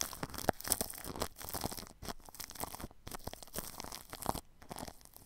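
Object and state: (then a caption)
Plastic cling film brushed over a microphone. A paintbrush brushes across plastic cling film wrapped over the grille of a ball microphone. The result is a steady run of close, crinkly, crunching scrapes with bright hiss and brief near-silent gaps between strokes, plus a few sharper crackles.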